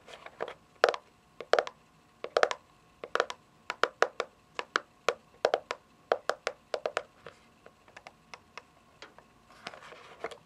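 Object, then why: Plastic electronic console casing. Long fingernails tap on the top and front of a white, hollow, console-sized plastic game console casing lying on carpet. They make a quick series of sharp, dry clicks with a hollow plastic tone and almost no ring. A soft rustle comes near the end.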